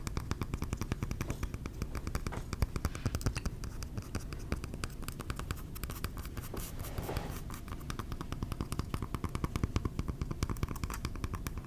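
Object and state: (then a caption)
Glass candle jar. Fingers tap rapidly and steadily on a glass candle jar, making a dense stream of soft, short taps that stay mostly low and muffled with only a faint bright edge. The taps die away almost instantly, with no ringing, and the sound stays at an even, quiet level throughout.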